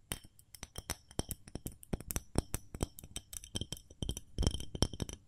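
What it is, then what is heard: Ceramic fluted cake mold tapped with fingernails. A small white fluted ceramic cake mold, hollow and empty, is held up in both hands and tapped with long fingernails. A quick, irregular run of many light clicking taps follows, each one short with a bright, glassy chink that dies away almost at once.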